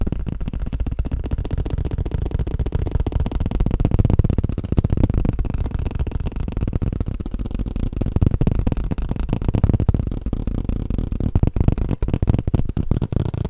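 Fingers tap quickly on a tablet case, making a steady, rapid stream of soft, dull thuds. The taps are low and muffled with almost no ring, running continuously at about four per second.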